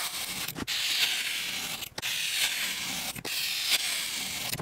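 A metal ice-cream scoop with a pink handle scrapes and scoops through red, white and blue kinetic sand packed full in a rectangular clear plastic box, carving out balls. Four long, bright, hissing scrape strokes are heard, separated by brief quiet breaks, with almost no low end.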